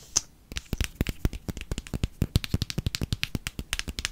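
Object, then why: Plastic cosmetic squeeze tube. A small pink plastic cosmetic squeeze tube, hollow and filled with cream, is held in both hands and tapped and scratched with fingernails. It makes a quick run of about two dozen short, dry taps with a low, dull thump and bright, crackly scratching on top. Each tap dies away almost at once.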